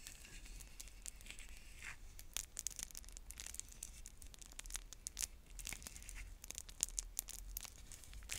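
Long nails pick at and crinkle the plastic shrink-wrap around a clear plastic stacking bead container with a paper label, held in both hands. The sound is a steady stream of bright, dry crackles and short tearing-like crinkles with a low background hum underneath.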